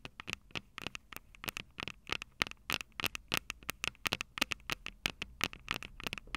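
Long purple nails on both hands tap and scratch the small metal X/Y microphone capsules on top of a plastic Tascam DR-05 recorder, directly on the recording mic itself. Some 32 sharp, dry clicks come in a quick, uneven run, bright and centered around 2 kHz with almost no low end. Each click stops instantly with no ring, with faint scratchy noise between them.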